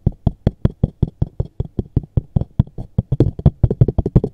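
A small, hollow, dark textured JCB cardboard box is held in both hands while fingertips and short nails tap and knock fast on its top surface. About 25 dull, low, hollow knocks come in a quick steady stream, each dying away almost at once. Faint higher clicks from the nails ride on top, and the knocks grow slightly fuller toward the end.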